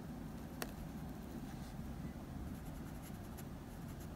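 A blue wooden pencil makes small strokes on the nose of a dog portrait drawn on a sheet of drawing paper, giving soft, quiet scratches over a steady low rumble. A brief bright tick stands out early, followed by fainter scratchy flicks later in the clip.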